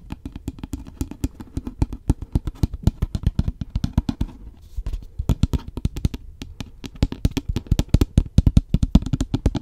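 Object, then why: Paper cup with plastic lid. A medium-sized, hollow, apparently empty takeaway coffee cup with a white paper body and a cream plastic lid is held in the hand close to the mic and tapped quickly with fingertips and nails. The result is a fast, uneven stream of short, dull, low thuds with no ring, pausing briefly a few times before resuming.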